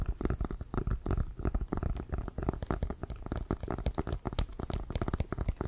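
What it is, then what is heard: Leather American football. Fingernails tap quickly on the leather surface of an inflated, hollow leather American football held at one side. The result is a rapid, steady stream of soft, deep, hollow thumps with a dry, crinkly edge and no ringing after each tap.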